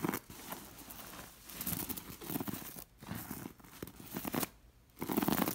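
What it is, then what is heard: Beaded fabric pillow being scratched. Long nails scratch and rake over a stuffed linen pillow sewn with rows of small glass beads in a lattice pattern. The result is bursts of dry, crinkly scratching and faint clicking, broken by brief near-silent pauses.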